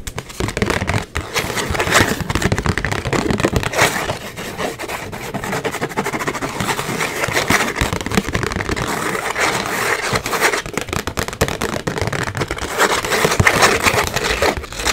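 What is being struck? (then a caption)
Small cardboard box. Long acrylic nails quickly tap and scratch the flat face of a small, flat, white cardboard gift box printed with a pink rose, closed and apparently hollow. A dense, steady stream of rapid scratchy rasps and light, hollow-sounding taps continues through the whole clip, bright and papery with little low end.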